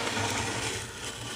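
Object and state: Nothing is struck.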